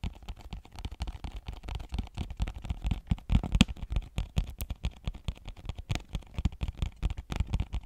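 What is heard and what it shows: Long nails tap rapidly on a small, flat cardboard phone case box with a clear plastic window, held close in front of the mic. About thirty short, dry taps land in quick, uneven succession. Each is dull and low-heavy, with a light crackle on top, and dies away at once with no ring.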